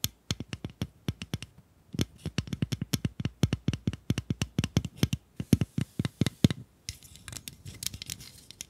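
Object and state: Plastic bunny pencil sharpener.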